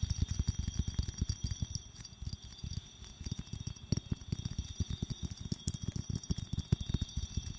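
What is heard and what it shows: Long nails tap rapidly and gently on a small clear glass bottle with a metal cap, making a steady stream of short, soft taps. Each tap is a dull, low knock that dies away almost instantly, with a faint high glassy ring hanging above the patter.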